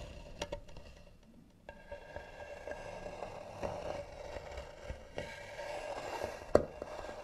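Long nails slowly scratch the lid of a tan, carved, hollow wooden box, producing a quiet, dry scraping with a steady hollow tone in the midrange. Scattered sharp taps and clicks punctuate the scratching, with the loudest snap near the end.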